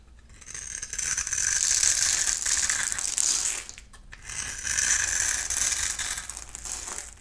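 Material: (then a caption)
Soap. A palm-sized solid oval bar of dry soap with a black shell and yellow core is held in one hand and scraped and carved with a snap-off utility knife blade, and brittle yellow soap crumbles off. The scraping makes a bright, crisp, crackly rasp in two long strokes separated by a brief pause near the middle.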